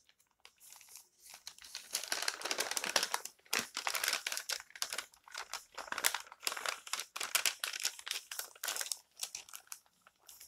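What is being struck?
Paper magazine pages.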